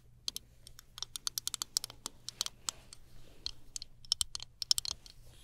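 A small chrome-finish plastic hairbrush is held horizontally while long nails tap its handle rapidly. About two dozen sharp, bright, dry clicks come in an uneven run, each dying away instantly, over a faint low hum.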